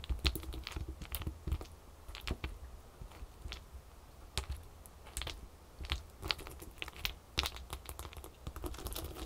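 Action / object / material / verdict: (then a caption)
tap / ice cubes on a towel / ice / none. Long acrylic fingernails on both hands tap and scratch several small solid ice cubes piled on a folded terry towel. Quick, sharp, bright clicks and short scratchy strokes come in uneven bursts over a low, steady rumble. Each tap dies away almost instantly.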